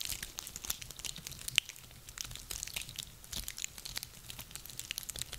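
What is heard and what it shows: Hands squeeze and rub a handful of small dry, woody pine cones, giving a continuous run of dry, bright crackling and crinkling with a louder sharp snap about a second and a half in. The clicks are short and dry, with little low end beneath them.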